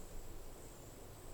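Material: Nothing is struck.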